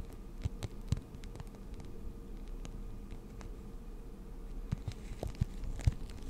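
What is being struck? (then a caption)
Clear plastic blister pack holding markers. Long nails tap and scratch a clear plastic blister pack holding six markers as it is turned in the hands. The quiet, irregular taps are short and dull with no ring, over a steady low rumble and faint rustling, with a few sharper clicks near the start and end.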